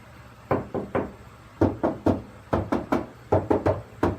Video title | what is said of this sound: Robert’s Camry | it still sounds hollow when you tap on it